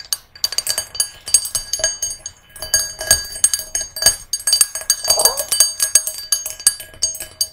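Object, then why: Small brass singing bowl. Long nails tap and scratch the rim and sides of a small, hollow, empty brass singing bowl resting on a red cushion. Quick, bright metallic clicks come in irregular bursts and sustain faint ringing tones near 600 Hz and 1.6 kHz, plus high shimmering overtones. Little low end is heard.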